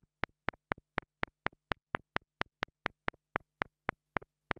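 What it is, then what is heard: Plastic mini microphone tapped with a wooden stick. A small black plastic mini lavalier microphone is tapped close-up with the side of a wooden stick, giving 18 short, dry clicks at a steady pace, each followed by a softer rebound tap. A faint low hum runs underneath between the taps.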